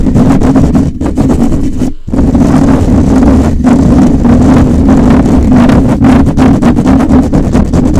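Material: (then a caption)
Metal mesh. Fingertips and short nails of both hands scratch and rub a rounded, hollow metal wire-mesh microphone grille. The result is a loud, continuous, low-heavy rumbling scrape that sounds almost like an idling engine, with rapid raspy flutters and a brief dip in sound around the two-second mark.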